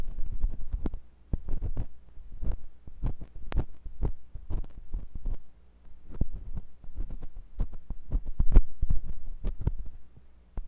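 A metal carving tool with a wooden handle, held by fingers with long nails, scratches inside the canal of a white, solid soft-rubber silicone ear on a binaural microphone body. The result is a rapid series of deep, muffled thumps and rumbling scrapes that sit almost entirely in the low range with a steady low hum underneath. Each thump cuts off quickly.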